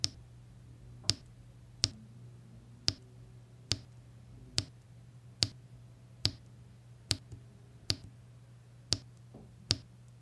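Small square resin diamond-painting drills are pressed one by one onto a flat, sticky adhesive canvas with a pink plastic drill pen that has a metal tip. Twelve sharp, bright clicks sound at roughly even intervals over a steady low hum, each dying away almost instantly.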